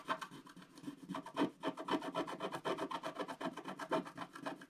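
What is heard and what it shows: A wooden stylus scratches the black coating off a flat scratch-art paper page in dense, quick strokes, about four per second. Each stroke makes a short, dry, raspy scrape with a bright papery hiss, and the strokes run on in an uneven but steady rhythm with no lingering ring.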